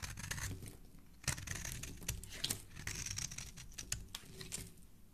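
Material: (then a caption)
Soap. A metal blade edge repeatedly scrapes and shaves the corner of a solid red bar of soap held in the hand, and pink flakes pile up below. The shaving sounds are crisp, bright and crackly, with sharp rasping strokes over a soft low rumble.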